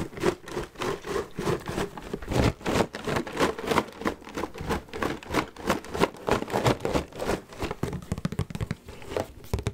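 A large, full red Cheez-It cardboard cracker box is knocked and tapped with fingertips and nails. Quick, loosely irregular dull taps and soft knocks come about three per second, with crinkly rustling between them. Each hit dies away almost at once, and the sound is mostly low-mid with little brightness.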